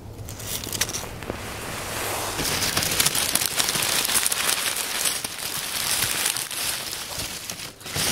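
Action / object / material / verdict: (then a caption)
scrape / pile of oak leaves / dry leaves / none. Both bare hands press, crumple and rustle a loose pile of light, crisp, dry brown oak leaves on a wooden picnic table with the fingertips. The result is a steady, dense, bright crackling and crinkling with irregular sharp snaps, and a faint low hum underneath during the first couple of seconds.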